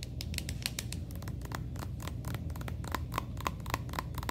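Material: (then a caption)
Plastic. A medium-sized, soft plastic red and gold Redken cosmetic tube that appears full, lying on a beige display tray, is tapped and scratched with long painted nails and fingertips as the hand slides along it. Quick, dry clicking taps and scratchy rubs sound over a steady low rumble, with the later taps carrying a faint high ping.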